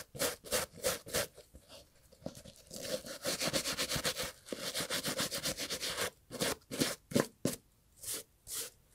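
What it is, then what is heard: Leather and textile loafer being brushed. A small bristle brush scrubs the cream textile panels and brown leather of a loafer held in a gloved hand. Quick bristly scratching strokes come in uneven bursts, with brief pauses between them and a steadier stretch of rapid scrubbing in the middle. The scratches are bright and airy, with a soft mid-range rasp.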